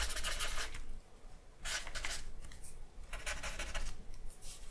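A hand rubs and scratches a dark charcoal stick across a large sheet of white drawing paper that lies flat on a wooden table and bears a charcoal portrait. Dry, bright, rasping strokes come in three main bursts with short quieter pauses between them, over a steady low rumble.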